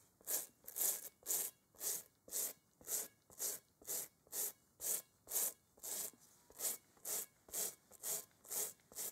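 A gloved hand scrubs a large, hollow, textured rubber playground kickball with a toothbrush while holding it over a bowl. The result is 18 bright, bristly rasping strokes at a steady pace of about two per second, with short quiet gaps between them.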